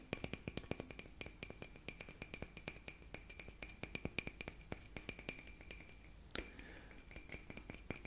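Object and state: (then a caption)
Glass light bulb tapped. Many small, quick taps on a glass light bulb, each a bright, short clink ringing near 2.4 kHz over a faint low hum. A brief louder rustle and thump interrupts just past six seconds before the light tapping resumes.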